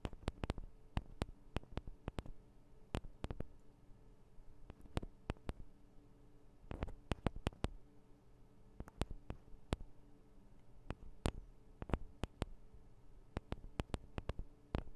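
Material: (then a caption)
Metal, plastic. Long acrylic nails tap and scratch on the two small, hollow metal and plastic microphone capsules of a Tascam DR-40 recorder. Dozens of sharp, dry, bright clicks land at irregular intervals, some in quick clusters, over a quiet, steady low hum. Each tap dies away almost instantly with no ring.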